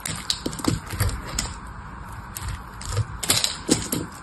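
A small metal blade cuts and scrapes pieces off a solid cream bar of soap that is already partly carved. Crisp, bright scraping crackles come in irregular bursts, each with a soft low thump as the blade bites and flakes come away.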